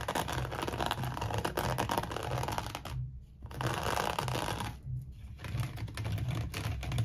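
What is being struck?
Woven seagrass rope bowl.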